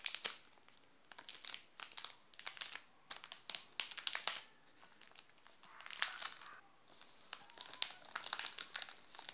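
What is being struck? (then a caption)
Plastic candy bar wrapper. A flat hand presses and fingers crinkle a sealed, full Garoto Cores chocolate bar in its shiny yellow plastic wrapper. Bursts of sharp, bright crackling come in quick clusters with short quiet gaps, then turn into a steadier continuous crinkle near the end. The sound is almost all high hiss with no low end.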